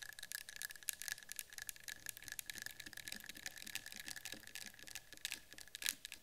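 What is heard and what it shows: Long pink-and-white patterned acrylic nails tap quickly on the side and top rim of a small cylindrical metal citronella candle tin with a yellow-green label. The result is a dense stream of quiet, bright, clicky taps with no ring-out, over a faint steady tone near 1.7 kHz.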